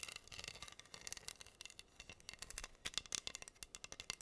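Long nails scratch and tap across pink acrylic rhinestones covering a flat, solid wooden heart board. The result is a quiet stream of bright, crisp clicks and scratchy rattles that carry almost no low end and cut off instantly after each contact, coming thicker and sharper toward the end.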